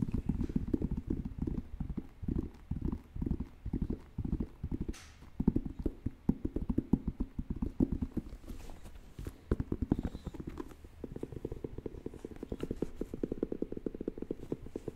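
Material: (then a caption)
Rubber. Fingernails tap and scratch the tread of the solid purple rubber outsole of an Air Jordan 1 sneaker, held in both hands. The result is a steady run of rapid, dull, low taps with a clip-clop rhythm and short scratchy passages between them.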